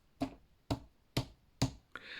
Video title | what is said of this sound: storing squashes | doesn't sound hollow like a drum that sounds firm